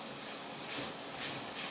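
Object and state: Nothing is struck.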